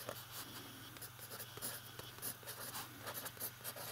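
A fountain pen writes large letters on a page of an open lined paper notebook, its nib scratching across the paper. The quiet, continuous scratching comes in short bright strokes over a faint steady low hum.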